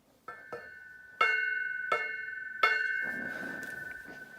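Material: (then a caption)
Metal. An empty, hollow metal speaker stand with no sand in it is tapped a series of times. Each tap rings out like a plucked string with a bright, sustained metallic tone that overlaps the next. Without sand the stand keeps resonating, which is the unwanted result compared with a sand-filled stand.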